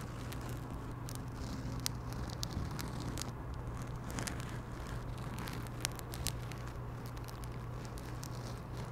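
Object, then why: Quilted fabric pouch. A pink floral quilted fabric pouch, held close to the microphone, is scratched with long nails. A steady, dense, crackly scratching plays over a constant low hum, with occasional sharper clicks standing out.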